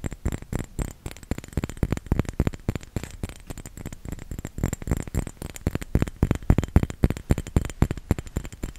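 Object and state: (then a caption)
Small round glass bottle filled with liquid. A small round glass bottle filled with red liquid is held in both hands and tapped quickly with the fingertips. The taps come as a fast, loosely irregular stream of soft, dull, low thuds that die away almost at once, with faint high clicks on top. The tapping rises and falls slightly in loudness over the clip.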